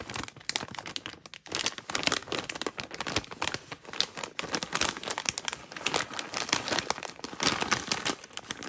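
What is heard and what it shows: A medium, flexible, matte metallized plastic veggie chips bag, full of chips, is held in hands with long matte nails, crinkled and squeezed while its serrated top edge is handled as it is opened. The result is dense, bright crinkling and crackling that runs continuously for about nine seconds, with sharp crisp snaps and almost no low end.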